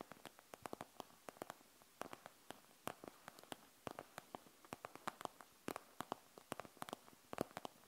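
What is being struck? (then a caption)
Plastic gel bead eye mask. Long nails scratch and tap the gel beads of a panda gel bead eye mask with a plastic shell. About forty quiet, sharp clicks and ticks sound in quick, irregular clusters, each dying away almost instantly over a faint background hiss. The clicks are bright and crisp, reaching up into the high range.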